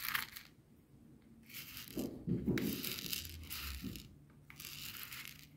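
A wooden skewer held in the fingers scratches and pushes a small heap of coarse bath salt crystals across a white plastic cutting board. The result is bursts of bright, gritty rasping and crunching, with soft low scraping underneath and brief quiet gaps between strokes.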